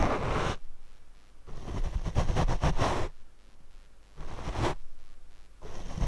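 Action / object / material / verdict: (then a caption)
scrape / foam microphone windscreen / foam / none. A paint brush is brushed across the black foam windscreen on a Rode microphone. It makes four separate bursts of soft, dull scratching rustle, heavy in low rumble with little brightness. Short quieter gaps fall between the strokes.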